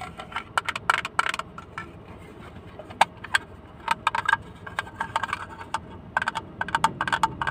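A small, hollow blue plastic hinged box, closed and then opened, is held close and tapped with fingertips and nails. The result is an irregular series of short, dry, clicky taps with a hollow midrange tone and bright edges, bunched in quick flurries over a faint steady hiss. Each tap dies away almost instantly.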